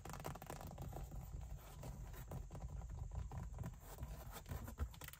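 Long white acrylic nails scratch and tap the large, padded backrest of a black leather (likely faux leather) front car seat with a perforated fabric insert. The result is a steady, low, muffled rustle of dense soft scratches and brief taps, with one slightly louder tap near the end.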